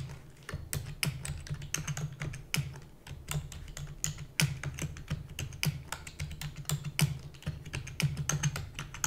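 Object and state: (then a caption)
Plastic computer keyboard. Rapid typing with long nails on a black plastic computer keyboard produces a fast, steady stream of sharp, bright clicks with very short decay. A continuous low hum runs underneath the typing throughout.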